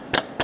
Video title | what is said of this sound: Nissan almera masalah leaking gear oil dan bunyi dibahagian undercarriage | Bunyi ketukan ni bukan daripada sini, daripada shaf tengah stering